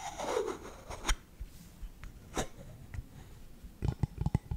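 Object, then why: Bamboo canister lid. Fingertips and nails tap and scratch the lid of a hollow, round lidded bamboo canister engraved SALT, held in one hand. A soft scratching rub opens the clip, followed by a few sharp, dry, hollow taps spaced apart. It ends in a quick cluster of short, low knocks.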